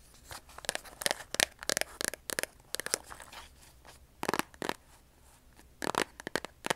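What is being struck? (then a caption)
Cardboard matchbox. A large Diamond Greenlight strike-on cardboard matchbox, a hollow box likely full of wooden matches, is held in both hands above the table and tapped and scratched with long polished nails. Quick, bright, papery taps and scratches come in irregular bursts with short quiet gaps between them. Each one is dry and stops almost at once.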